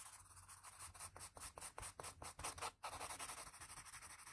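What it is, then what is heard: Graphite pencil shading on drawing paper. A patterned blue wooden graphite pencil shades around a drawn eye on a flat sheet of drawing paper resting on a firm surface, using quick back-and-forth strokes. A soft, dry, scratchy rubbing swells and fades with each stroke, its grainy hiss reaching bright and high. The strokes keep up a fast, uneven rhythm with a brief pause near the middle before continuing.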